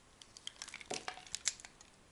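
A metal knife blade scrapes and slices thin shavings from a solid orange-brown oval soap bar held in the palm. A quick run of short, dry, bright crackling cuts follows, each dying away almost instantly, with almost no low end.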